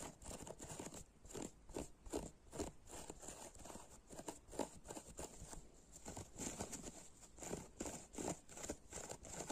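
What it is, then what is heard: Dry foam kitchen sponge. Fingertips and short nails scratch and squeeze the cube tips of a hand-sized, blue-purple dry foam kitchen sponge, a solid porous foam cut into a grid of small cubes. Soft, crunchy crackling scrapes come in quick, irregular bursts with a bright, hissy top and short, dry decays.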